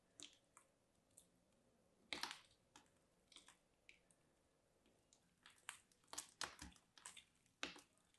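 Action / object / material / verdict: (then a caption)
scrape / dried soap chunk cut with a small blade / soap / none. A small, solid chunk of dried, crumbly mint-green soap, held in the fingers, is scraped and cut apart with a small dark blade and breaks into flaky crumbs. The result is a quiet series of short, dry, bright crunches and scratchy crackles. The loudest bursts come around the two-second mark and in the second half.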